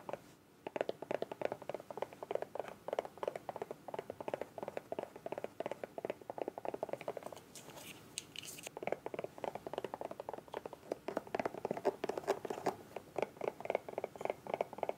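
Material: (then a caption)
Soft plastic. Long acrylic nails tap and scratch the sides of a small, hollow, bright green soft plastic squeeze bottle with a white cap, held in both hands. Dense, rapid, crisp clicking taps with a hollow mid-range tone run throughout. They pause briefly around the middle for a brighter scratching swish, then resume.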